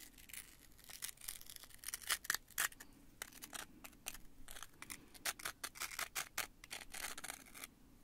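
A small handmade prop of rolled white card or paper strips formed into hollow rings is held in both hands and squeezed and rubbed with the fingertips. It gives a dense run of crunchy, crinkly crackles, bright and papery with little low end, in quick uneven bursts of varying loudness.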